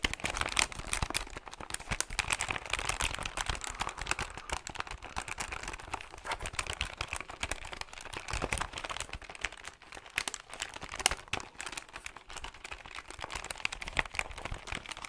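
A hollow plastic desktop calculator is held in both hands while fingertips tap quickly on its keys and plastic housing. The result is a steady, dense stream of crisp, dry clicks and light crinkly taps with a bright, high-leaning tone and almost no ring.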